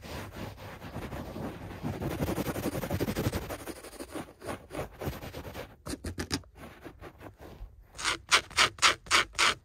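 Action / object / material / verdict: scrape / wall-to-wall carpet, fabric pile / carpet fibre / none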